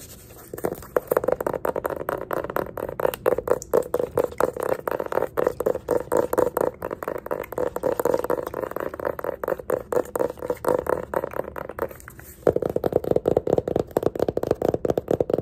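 Fingernails rapidly tap and scratch the cover and page edges of a small yellow hardcover paper sketchbook with an art creation label and an elastic band. The result is a fast, steady stream of dry, clicky taps with a hollow mid-range tone. There is a brief lull near the 12-second mark, after which the tapping resumes slightly louder.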